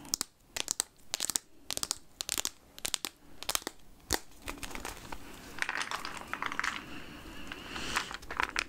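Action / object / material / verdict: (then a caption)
shake / plastic jar of peanuts / plastic / none. A clear plastic jar full of peanuts, with a red lid and a paper label, is held, tilted and shaken by hand so the contents shift. Sharp, bright rattling and crinkling clicks come in quick bursts for the first four seconds. They give way to a softer, continuous rustling hiss with a few more scattered clicks toward the end.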